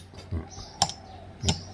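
An old Khun Phaen Chom Talat fired-clay Buddhist amulet, its clay hardened to stone, is tapped three times. The taps are short, sharp clicks with a bright, hard edge and almost no ring. The amulet is as hard as iron and takes the knocks undamaged, where a new amulet would flake or peel.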